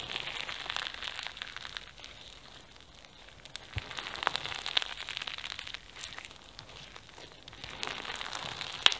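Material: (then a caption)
Foam beads. Pink floam slime packed with foam beads and flower sequins is squeezed in both hands, stretched into a long strip and folded back. It produces dense, bright crackling and popping from the beads, swelling in louder bursts and easing off in between.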